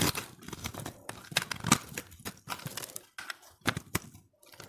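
A utility-knife blade scrapes flakes from a solid, hand-held, pressed multicolored dry soap ball that has been partly carved down. It makes a rapid series of short, crisp scraping and crunching strokes with bright, crackly highs and brief pauses between passes.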